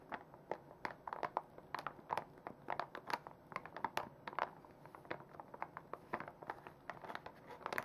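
A full plastic makeup wipes pouch, lying flat and then lifted, is rubbed and scratched with long nails and fingertips. Quiet, dry crinkles and sharp scratchy ticks come in quick, uneven bursts, centered in the mid range with bright edges and almost no low end.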